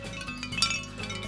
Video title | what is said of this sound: 【1300℃の炎と格闘】白炭職人 / 得報アンサー | 白炭で出来た風鈴。 金属音がする。